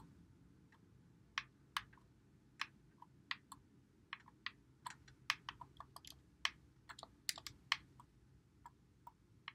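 Fingertips press and click the buttons and thumbsticks of a white Xbox One controller with a hollow plastic body, held in both hands. About eighteen sharp, bright plastic clicks come in irregular bursts, each stopping almost instantly, over a faint low background hiss.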